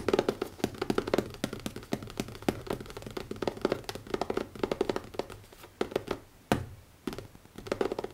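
Fingertips tap quickly on the cover of a new leather notebook, making dense, soft, dull taps with very short decay and a mid-low body. The tapping runs in rapid bursts with brief pauses, including a near-silent gap before one sharper, louder tap.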